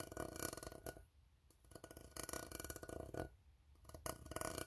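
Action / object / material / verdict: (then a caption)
tap / empty ribbed steel tin can / steel / none. A fingertip taps and scratches the ribbed side of an empty, hollow steel tin can near its bottom. Dense bursts of quick, scraping taps with a hollow metallic tone alternate with quieter stretches, the ribs adding a bright, rasping texture. Each tap dies away almost instantly.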